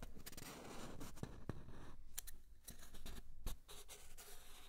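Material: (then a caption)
Cardboard. An empty, long, hollow brown cardboard tube is held in both hands while fingertips and nails scratch and tap its outer surface. The result is quiet, steady scratching with a dull, hollow low resonance, broken by short, sharp taps that die away almost at once.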